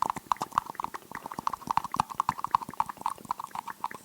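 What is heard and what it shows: A cup is tapped in a quick, irregular run of light, dry taps, each with a short hollow knock pitched near 1 kHz. The taps die away almost instantly, with no ringing and very little low rumble.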